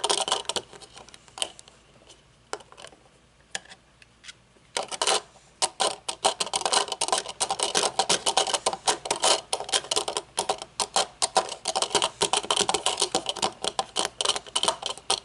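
Long fingernails tap and click on the mirrored lenses, bridge and nose pads of small metal-framed sunglasses lying on a wooden table. Sparse, bright clicks in the first five seconds give way to a fast, dense stream of sharp, dry ticks that stop almost instantly with no ring.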